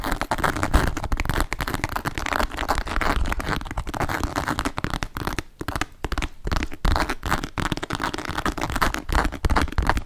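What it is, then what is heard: Leather and calf-hair shoulder bag. A hollow, medium grey embossed leather shoulder bag with leopard-print calf-hair panels, a strap and a metal ring is held up and tapped and scratched with long nails. The sound is dense, continuous crackling and scratching, with quick, dry taps that die away almost at once over a low, muffled body. A short quieter gap comes around the middle before the busy scratching picks back up.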